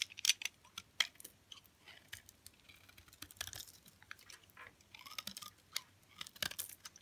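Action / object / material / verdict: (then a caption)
scrape / olive oil soap bar cut with a metal blade / soap / none. A utility knife blade scrapes and cuts thin flakes from the side of a solid, hard green olive oil soap bar held in hand, the flakes piling onto a cloth. The result is an irregular series of crisp, bright scraping and crunching strokes, mostly high in pitch with almost no low end, with sharper snaps near the start and short cuts spread throughout.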